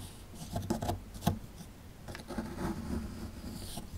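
A metal pick tool scratches at a small, solid plaster excavation block held in the hand. The result is a series of short, dry scraping strokes with gritty, bright edges over a quiet, low-heavy base, with the sharpest scrapes in the first second and a longer, softer rasping stretch toward the end.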